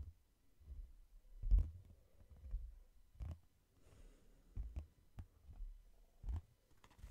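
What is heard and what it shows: Fingertips and nails tap on the cover and along the spine edge of a hardcover book, at an uneven, slow-then-quicker pace. Each tap is a soft, dull, low thud with a faint click that dies away almost at once, separated by quiet gaps.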